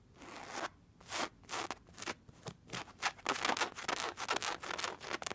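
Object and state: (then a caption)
Ribbed fabric bolster pillow. Long red-painted nails scratch and rub the round end of a dark brown, cylindrical, padded bolster pillow covered in ribbed fabric, resting on a bed. A quick, irregular series of dry, bright scratching strokes rises and falls, with short gaps early on and becoming denser and faster toward the end. There is almost no low end.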